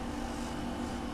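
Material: Nothing is struck.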